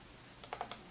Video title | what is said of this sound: Hanging out w great sounds! ASMR softly spoken and nail tapping | the box is hollow, so it makes lots of very, very good tapping sound